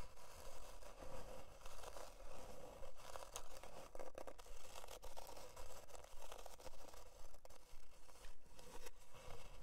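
Long dark nails scratch back and forth across the surface of a thin, solid, flat plywood heart-shaped board. The result is a steady run of dry, raspy scraping strokes at a fairly even rhythm, with a faint tonal band around 500 Hz.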